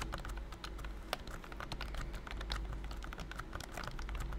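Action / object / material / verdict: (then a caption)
tap / plastic computer keyboard / plastic / none. Fingertips type continuously on a pink plastic BT21 Cooky keyboard with round white and cream keycaps, a figurine on top and a hollow body. A rapid, steady stream of short, bright plastic clicks and taps rides over a low, constant rumble.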